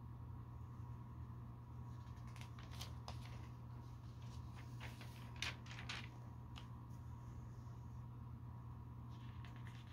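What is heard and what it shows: Fingertips and nails lift and turn the pages of a thin glossy paper store catalog lying open on a carpet, producing soft page flips, paper rubbing and flapping. Bright, crisp swishes and crinkles cluster in the middle of the clip, with one sharper flap standing out. Throughout, a quiet, steady low hum sits underneath.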